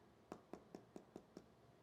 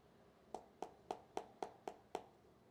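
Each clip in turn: First: hollow-sounding smartphone glass back. Second: solid-sounding phone glass back.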